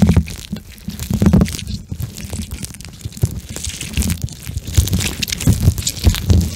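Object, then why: Gel bead eye mask. A pink gel bead eye mask with eye holes is stretched and squeezed in the hands, then pressed against the microphone and squished with the fingertips. The result is a dense run of soft, wet-sounding squishes and crackles, heavy in low thuds, with quick bright clicks scattered throughout.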